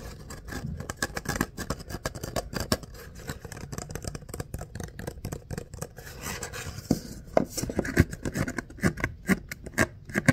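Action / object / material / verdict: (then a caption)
scrape / ribbed paper coffee cup / paper / none. Short fingernails and fingertips scratch and rub along the ribs of an empty, hollow paper coffee cup of about 12 oz, which has a corrugated kraft-paper sleeve and a white rim. The result is a dense, rapid run of dry scratching ticks with a soft low body and little ring. A few sharper, louder clicks stand out after the midpoint.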